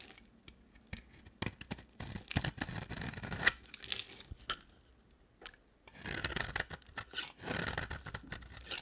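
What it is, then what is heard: Dry bar soap being shaved. A solid, dry orange bar of soap is shaved in strokes with a hand-held box cutter blade. Short, bright scraping and crackling bursts come in clusters, with a quiet pause near the middle before a longer run of rasping strokes.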